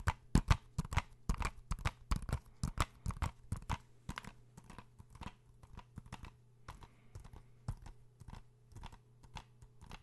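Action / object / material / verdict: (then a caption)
tap / plastic game case / plastic / none. Fingernails tap and scratch a small, hollow blue plastic PS4 game case (Uncharted) held in both hands. About 27 short, dry clicks come at an uneven pace over a faint low hum. They are loudest in the first four seconds, then turn softer and lighter.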